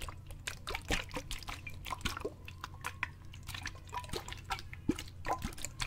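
A clear plastic bottle with a grey lid, partly filled with water, is tilted and shaken in both hands so the water splashes inside. Quick, bright sloshing and drip-like splashes come in a dense, uneven stream over a steady low hum, with short, sharp sounds that don't ring on.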